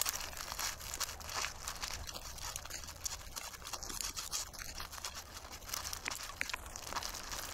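Fingertips rub and scratch the remaining black seeds out of a large dried sunflower head held in both hands, leaving the fibrous yellowish seed bed mostly bare. The result is a steady, bright, dry scratching and crackling rustle of quick overlapping clicks, with no long pauses.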